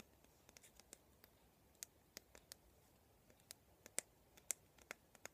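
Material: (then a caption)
Plastic. Fingertips and nails tap and scratch along the handle and pin bristle rows of a handheld black plastic vent hairbrush with a hollow vented head and a silver band on the handle. The result is a quiet series of short, dry, bright clicks and scratches at an uneven pace, with no ring after each touch.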